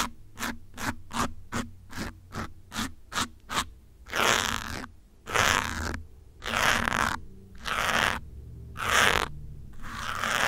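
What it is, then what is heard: Foam microphone windscreen scratched with a pin. A metal pin held between the fingertips scratches the side and top of a grey foam windscreen on a black microphone. A quick run of short, crisp scratches comes first, followed by six longer, louder, bright rasping scrapes separated by brief pauses.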